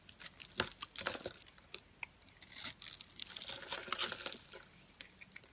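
A metal utility knife scrapes crunchy flakes off a solid white rectangular bar of dry soap, pre-scored into small cubes and held in the fingers with long nails. The sound is a dense run of dry, bright crackling and tearing scrapes with almost no low end. Quieter crunches at the start build to a louder, busier stretch before tapering off.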